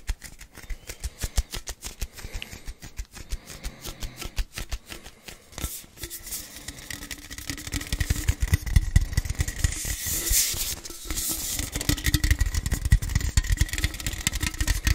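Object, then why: Aluminum drink can. A hollow orange aluminum drink can is held and tapped with fingertips and nails, giving sharp, short clicks over a low, dull body. The taps start sparse and soft, then become faster, denser and louder after about six seconds, with a faint steady ring emerging beneath them.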